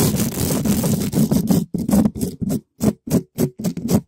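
A gloved hand scratches a red spiky rubber ball in fast strokes across a black metal mesh microphone grille shaped like a hollow dome. It makes loud, rough, low-heavy scraping rustles centered around 200 Hz, with little brightness. The strokes blur into a continuous scratching at first, then break into distinct short bursts separated by brief silences.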